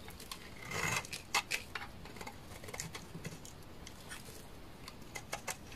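A utility knife blade shaves thin flakes off the face of a solid, dry, beige bar of laundry soap. Crisp, bright scraping and brittle crackling clicks repeat, with a longer rasping scrape near the start and short, sharp snaps scattered through the clip, each dying away almost instantly over a soft, low background hiss.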